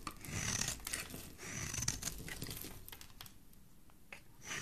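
A solid pink oval bar of soap with a textured face, held in the hand, is scraped and shaved with a metal utility blade. Dry, crinkly scraping strokes with a bright, hissy edge come in irregular bursts, louder at first, then softer, with a final swell at the end.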